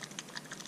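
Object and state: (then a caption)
Thin airbrush acrylic paint in a shaken bottle. A dropper bottle of charred brown airbrush acrylic paint is shaken, producing a quick series of short, bright, clicky sloshes. The sound marks it as a thinner liquid than regular acrylic paint.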